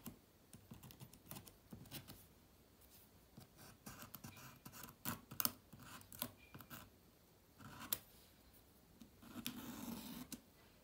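A wooden toothpick held in the fingertips scratches between the plastic keys of a silver laptop keyboard. Short, dry scratches and faint clicks come in irregular bursts with bright, hissy edges and almost no ring. A longer, steadier scraping run sounds near the end.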